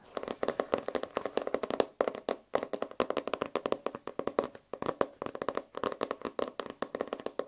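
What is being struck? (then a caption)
Foil-covered notebook cover. Fingertips and short nails rapidly tap and scratch across the flat cover of a hand-sized notebook, held up in one hand, whose rigid cover is wrapped in iridescent holographic foil with a peacock-feather print. The sound is a dense run of dry, crisp clicks with a papery midrange, almost no low end, and no ring. Brief pauses break the run near 2.5 and 4.8 seconds.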